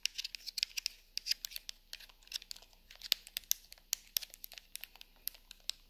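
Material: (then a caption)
Plastic. A handheld plastic TV remote with rubber buttons, hollow and lying on a fabric sofa, is tapped and scratched with long nails over its buttons and casing. About thirty quiet, sharp, bright clicks and scratchy ticks come in an uneven stream. Each is dry and dies at once, with almost no low end.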